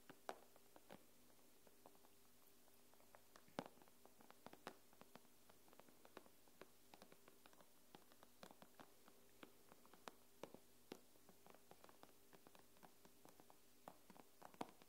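Long nails tap and scratch across the glass screen of an iPad, producing dozens of quiet, sharp clicks scattered irregularly over about fifteen seconds. Each click is short and dry with almost no ring, set over a faint, steady low hum with a soft tonal drone.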